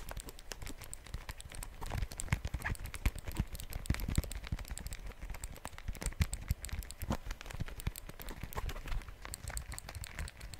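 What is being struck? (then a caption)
Handheld plastic calculator. A small handheld dark plastic calculator with a keypad, solid, is held in both hands and tapped with fingernails on its keys and casing. The result is a fast, continuous stream of short, dry clicks and taps with almost no ring, heavy in low-frequency thump.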